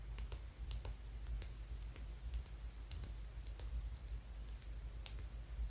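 A palm-sized, solid dark rock with a rough, porous surface is held in the hand and scratched and tapped with fingertips and nails. Quick, dry clicks and short scraping ticks come at an irregular pace over a steady low rumble, each one dying away almost at once.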